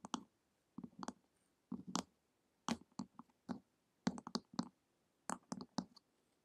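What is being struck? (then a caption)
Hardcover book with glossy cover. Long acrylic nails tap and click on the glossy printed cover of a flat, solid hardcover book lying on a table. Short, dry clicks with a low thud come in quick bursts separated by brief pauses, each tap dying away almost at once.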